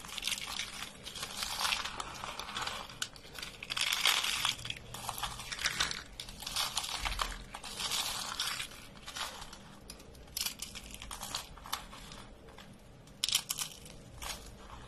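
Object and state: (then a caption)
Dry soap flakes being crushed. Fingertips grab and crush a pile of dry beige soap flakes and curls, producing bursts of bright, crisp crunching and crinkling. The crackles come in dense clusters with brief quieter pauses between handfuls, and the sound stays mostly high with little low end.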